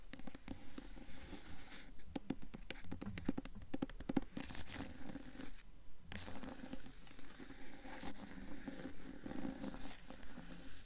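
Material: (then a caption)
Paper. Long nails scratch and tap the paper dust jacket of a blue hardcover book tilted sideways. Quick, fairly regular dry scratching strokes mix with soft taps, all dull and low-heavy with almost no ring. There is a brief pause near the middle.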